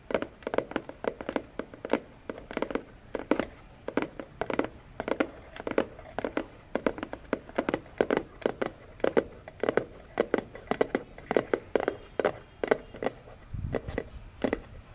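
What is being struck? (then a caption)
Cardboard box. Long nails tap rapidly on the top and edge of a hollow orange cardboard box lying on a table. The result is a fast, uneven stream of dry, hollow clicks centered in the low-mids around 430 Hz, each dying away almost instantly. Near the end, one softer, deeper thump stands out.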